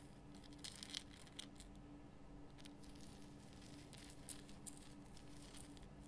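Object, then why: Rock salt lamp. Long fingernails scratch all over a large, solid pink Himalayan rock salt lamp with a rough crystal surface, lit from inside. Quiet, bright, crackly scratching comes in short bursts and brief sharp clicks over a steady low hum.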